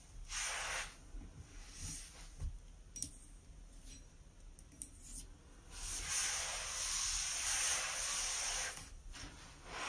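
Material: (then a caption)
Ceramic. A hand with red-painted nails rubs and scrubs the inner surface of an empty, large white ceramic basin sink with a metal drain, using an orange and white sponge. Bright, hissy scraping comes in short bursts with a few faint knocks, then builds into a longer, steady scrub that fades near the end.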